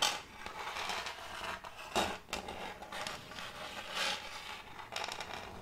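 Metal fingertip claws scratch and scrape across the face of a large, solid, round board of checkered end-grain wood held tilted. Bright, gritty scraping strokes rise and fall in uneven bursts, with sharper swipes near the start, middle and end.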